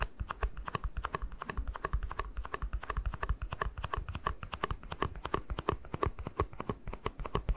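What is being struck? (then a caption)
Small plastic cup. Fingertips tap quickly on the base and side of a small, hollow, empty white plastic cup. A steady run of rapid, dry, hollow clicks with a soft low thump behind each tap, every tap dying away almost instantly.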